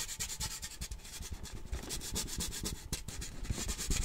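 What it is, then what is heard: Metal tin can being scratched. Fingertips and nails rub and scratch the side of a large cylindrical printed metal Christmas cheese-puff tin with a puppy print, its lid on and apparently full, held close to the microphone. The result is a continuous dry scraping hiss with soft, dull low thuds and no lasting metallic ring.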